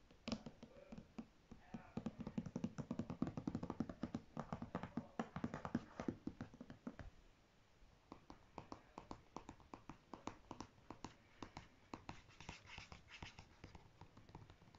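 A medium, apparently filled John Frieda purple conditioner in a soft plastic squeeze tube, lying on a fabric surface, is tapped and scratched with natural fingernails, first on the back label and then on the front. Rapid, dry, short taps and scratchy rustles with a low hollow body fill the first half. After a brief pause, a quieter run of crisp, lighter clicks follows.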